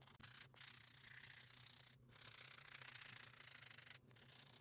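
A small pink and orange foam buffer block, held in a gloved hand, is rubbed along the surface of a long acrylic nail. The result is a steady, bright, hissy scratching sound in short back-and-forth strokes. There are brief pauses near half a second, two seconds and four seconds.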